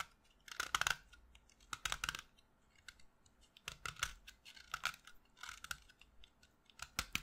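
A short, solid piece of pastel green chalk held in the fingertips is carved with a knife blade, its crumbs falling onto a pile of dust. Quiet bursts of dry, crunchy scraping come in clusters, bright and crisp with a faint tone near 1.3 kHz, and each stops dead with no ring between strokes.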